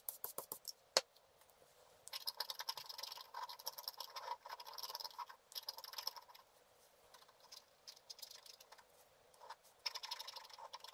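A wooden stylus scratches across a black-coated scratch art card lying flat, making quiet, bright, dry scratching strokes in bursts with short pauses between them. A few quick light ticks open the clip, with one sharper click near the first second, and there is no low rumble underneath.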